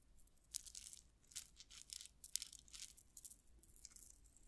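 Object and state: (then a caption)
Metal rhinestone chain tassel. A metal rhinestone chain tassel is held up, scratched and shaken with long nails, so its small metal links rattle against each other. Quiet, bright bursts of crisp jingling and ticking come and go in uneven waves, with sharp clicks and almost no low end. Each tiny click dies away at once.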